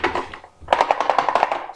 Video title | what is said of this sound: comment reparer machine senseo philips (bouton clignote rapidement) | Vous entendez qu'ici, il s'est débloqué.